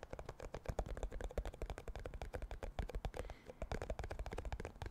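Fingertips and nails tap rapidly on the lid and ribbed side of a round, clear plastic tub full of cotton swabs. The result is a fast run of short, dull, low-heavy clicks and knocks that die away almost instantly, with little brightness.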